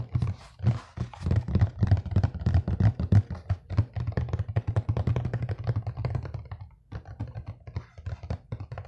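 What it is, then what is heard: Cardboard box. Fingertips and nails tap and scratch a flat, empty, hollow-looking brown corrugated cardboard box with a ring-light print, held up close to the microphone. Quick, uneven taps land as soft, low, hollow thumps, layered over a dry, brighter scratching rasp. The rhythm briefly pauses near the seven-second mark, then the quieter tapping resumes.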